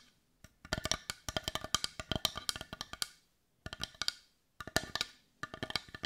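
Long nails tap quickly on the rounded back of a hand-sized, hollow, heart-shaped dark brown wooden bowl. The bright, dry, clicky taps sit around 3.2 kHz, stop almost instantly with no ring, and come in fast irregular bursts. The bursts are split by two short silences.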